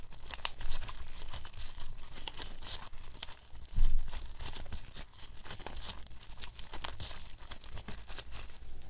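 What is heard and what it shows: A small white lump of homemade glue slime is squeezed and folded in the fists of pink latex-gloved hands above a table. It gives a steady run of bright, crinkly crackles and sticky tearing pops over a low rumble, with a louder squelch just before the four-second mark.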